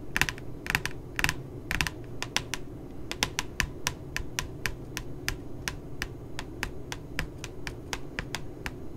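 Long glittery nails tap and scratch the glossy puppy-photo cover of a pink spiral notebook lying flat. Quick, crisp taps with bright clicky tops come in a steady run, some in fast doubles early on, over a soft low background hum. Each tap dies away almost instantly.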